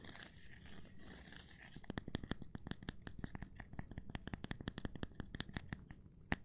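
A gloved hand works on a cork board, starting with about two seconds of soft, hissy rubbing before breaking into a rapid, uneven run of taps. Each tap is a short, dry thud with a low body and a bright click on top, dying away almost instantly. The tapping carries on to the end, closing with one sharper, louder hit.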